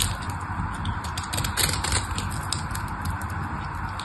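A small craft knife blade shaves a solid pink bar of dry soap held in the hand, making a steady, uneven crackling scrape. Bright, crisp flecks of sound sit over a faint low rumble, with slightly louder bursts of shaving in the middle of the clip.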